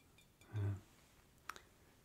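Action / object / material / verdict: tap / glass lamp chimney / glass / none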